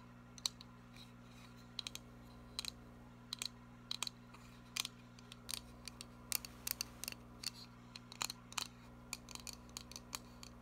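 Long nails tap quickly on a small printed cardboard box held up facing forward. The taps are short, bright clicks that die away almost instantly, each one separate. A faint, steady low hum runs underneath.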